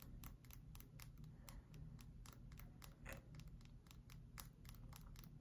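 A solid pale bar of soap, held vertically, is tapped on its flat face with long acrylic nails. The result is a quick, uneven run of dry, bright clicks that die away almost at once, heard over a steady low hum.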